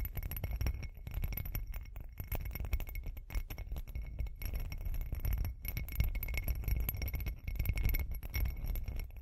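Long green acrylic nails tap and scratch the outside of a hand-sized, hollow glass cup or candle holder with a bumpy, glittery surface, held close in front of the mic. A steady flurry of quick, dry ticks and scrapes runs throughout, heavy with low thumping body and faint, thin ringing tones above.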